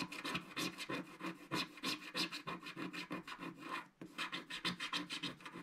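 A wooden stick scratches the black coating near the lower edge of a flat, solid scratch-art card page. Quick, repeated rasping strokes, about three per second, have a dry, bright scraping texture with little low end. A brief pause near the four-second mark breaks the strokes before they resume.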